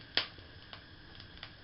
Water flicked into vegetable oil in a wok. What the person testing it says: you hear that crackle well that means it's done